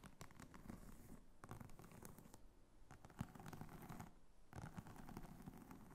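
A small red croc-embossed faux leather clutch wallet with a flap and metal snap stands upright while long fingernails tap and scratch it from behind and on top. The result is a quiet, continuous patter of dry scratching and soft, dull taps, with brief lulls and one sharper tap near the middle.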